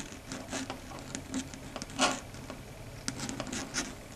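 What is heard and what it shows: Long red stiletto nails tap and rub or scratch across a flat, solid, dark grey chalkboard surface. Quiet, irregular taps and scratchy strokes come in a light patter, with brief bright bursts and a faint low hum underneath.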